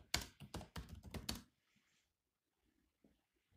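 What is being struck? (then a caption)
Plastic laptop keyboard. Fingertips of both hands tap the black plastic keys of a grey laptop keyboard in a quick, uneven burst of bright, clicky keystrokes with a low thump under each press. After about a second and a half the typing stops, leaving near silence broken by a few faint, soft taps.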